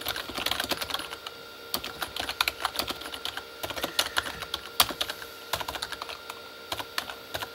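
Both hands type with their fingertips on a full-size, hollow Corsair K35 backlit mechanical keyboard, which has plastic keycaps on a plastic body. Dozens of quick, bright plastic taps come in uneven bursts with short pauses between them. Each tap dies away almost instantly over a faint steady hum.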